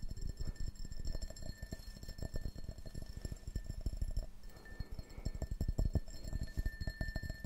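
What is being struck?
Printed glass drinking tumbler.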